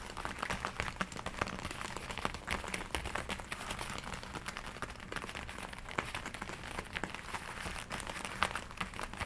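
Hands with long nails rub and scratch the forearm sleeves of a glossy black leather jacket being worn. The result is a steady stream of quiet, dense crinkling and scratchy friction noise with many small taps and bright rustles.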